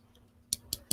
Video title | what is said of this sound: Contemplating Sustainability with a 9 Year Old | you can hear that it sounds like plastic. Yeah, it totally sounds like plastic